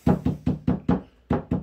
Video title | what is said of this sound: RC BOATS , RC CARS what did I use to get 76 mph outta 3s in recoil 2 | See how hollow that sounds?